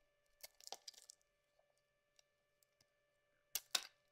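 A metal blade scrapes across a solid yellow bar of soap held in the palm, peeling thin curls from its surface. A quick cluster of bright, crisp scraping strokes is followed by faint ticks and then two louder, sharp scrapes near the end.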